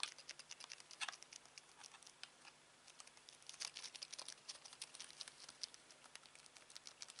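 A black plastic Samsung TV remote is held in the hand while fingertips tap quickly on its rubber buttons. The result is a quiet, rapid patter of dry, bright, crisp clicks with almost no ring, coming in uneven bursts with a brief lull in the middle.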